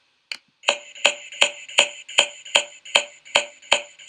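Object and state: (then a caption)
Dull percussion note over airless lung or solid organ. A dull chest percussion note, of the kind heard over airless lung as in pneumonia, over fluid, or over solid organs such as the liver and spleen, is tapped out as 11 separate, evenly paced strikes. Each tap is short, high-pitched and dry, centred around 3 kHz with a bright top, no low-end body, and almost no ring or resonance. This is the abnormal dull sound rather than a resonant one.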